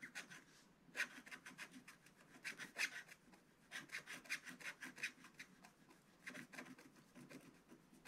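A wooden stylus held in the hand scratches the black coating off a small square on a scratch-art paper page of an advent calendar book lying flat on a table. Quiet, irregular bursts of dry, bright rasping come in short back-and-forth strokes, peaking around 2 kHz with little low end. Some strokes are sharper and louder than others.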